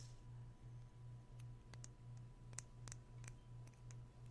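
Fingertips and nails fiddle at the tip end of a small, hollow, slim white plastic pen with a dark and gold tip, held in both hands. This produces repeated, short, bright clicking taps at an uneven pace over a steady low hum.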